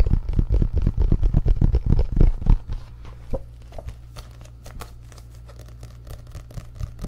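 An orange paperback book is bent, then held open close to the mic while fingertips tap across its printed paper pages. The first two and a half seconds bring a quick run of deep, thumping, papery hits. These then give way to softer, sparse taps and light crackles, with a low hum underneath.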